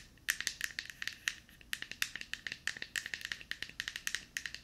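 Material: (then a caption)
Plastic. Long painted nails tap quickly on a small, hollow, light-blue plastic deodorant stick held close to the mic. About thirty sharp, bright clicks with a hollow ring near 1.8 kHz come in an uneven rhythm, each dying away almost at once.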